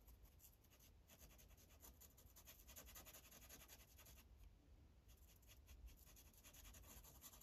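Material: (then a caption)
Paper. A tan felt-tip Sharpie marker is rubbed in short, quick strokes across a thin printed paper coloring page lying flat on a clipboard. It makes a steady, soft scratching with bright, airy hiss over a low hum throughout.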